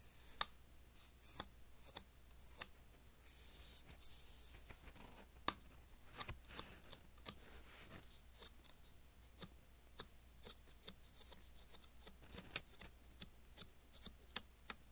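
Fingertips and nails scratch and rub along the red glossy pages of an open magazine lying flat, working near the gutter. Many sharp, dry, bright ticks and scrapes come in irregular bursts over a soft papery rustle, each dying away almost instantly, with a faint steady low hum underneath.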